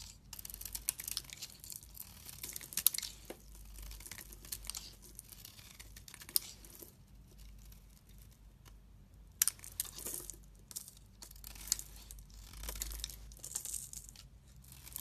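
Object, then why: Solid soap bar. A solid pink bar of soap is shaved with a box cutter blade, making quiet, dry scraping and crumbly shaving sounds. Bursts of bright, hissy texture come and go over a faint low hum.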